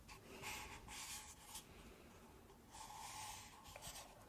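Long nails scratch and rub the outer wall of two stacked, empty, hollow pink paper cups held sideways. The result is quiet, bright, papery scraping in uneven bursts, with a faint hollow ring around 850 Hz from the cups.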